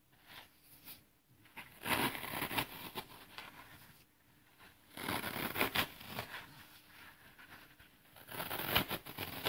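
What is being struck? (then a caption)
Green floral foam block. Fingertips tear and crumble pieces off the edge of a small, porous green floral foam slab held over a pile of foam crumbs, then press into its surface. Dry, bright crackling and crunching come in three louder bursts, separated by quieter stretches of soft rustling and crumbling.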